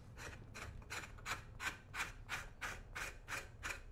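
A thin metal scraper blade is dragged in short, repeated strokes across the toe of a brown leather right boot resting on a shoe-shine stand, scraping off old polish. It makes a steady, rhythmic rasping at about three strokes per second, each a bright, hissy burst centered near 2.4 kHz over a faint low rumble.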